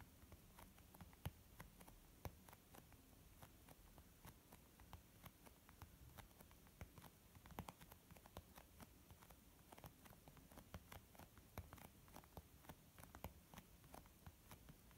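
Slow nail-tip tapping with both hands on a white textured leather zip makeup pouch. Many short, dry, soft taps with almost no ring sound over a quiet, steady low rumble throughout.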